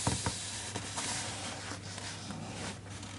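Fingertips trace and rub across the printed paper page of an open hardcover children's picture book resting on a desk, staying on the same spread. A soft, steady papery hiss and rubbing runs throughout, with a few light brushes near the start over a faint low hum.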